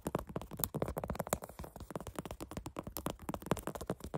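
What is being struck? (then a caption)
Canvas sneaker upper with metal eyelets. Fingernails tap and scratch the black canvas upper of a sneaker and its metal eyelets in a rapid, steady run of about 27 quick strikes over four seconds. Each tap is short and dry with a soft low thump and almost no ring, and light scratchy texture fills the gaps between them.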